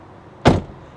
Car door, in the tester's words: closes the door here that sounds dull